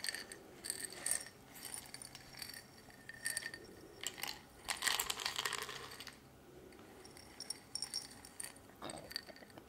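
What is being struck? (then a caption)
Small glass jar with metal screw lid. A small round glass jar with a silver metal screw lid and dark contents is held in hand and handled with long red-painted nails, the lid tapped, turned and the jar shaken. Quiet, bright clinks, rattles and scraping bursts come in uneven clusters, with short ringing glassy taps.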